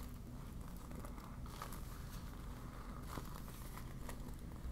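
A deflated yellow PVC vinyl beach ball is crumpled in the hands while long nails crinkle and scratch across its thin vinyl. The result is a soft, continuous crinkling and scratching texture over a steady low rumble, with brief brighter crackles standing out here and there.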